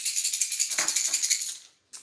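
A worn, rusted plastic lipless crankbait fishing lure, held with its hooks pinned down, is shaken so the beads inside rattle. A fast, steady run of bright, high-pitched clicking fades out after about 1.7 seconds, followed by a short final rattle.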